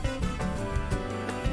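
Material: Nothing is struck.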